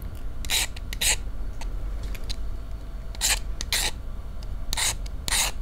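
A wooden match head is rubbed and scratched repeatedly along the striker strip of a small cardboard matchbox held in one hand, without lighting. Short, bright, rasping scrapes come in pairs over a steady low rumble.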